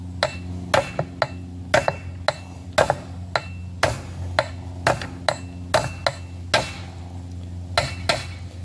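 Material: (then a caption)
Steel. A steel wheel bearing is hammered into an aluminum front wheel hub on a Banshee with 20 sharp, short knocks over a steady low hum. As the bearing bottoms out, the hits shift from a hollow sound to a deep knock, leaving the bearing fully seated with just enough room left for the seal, as expected.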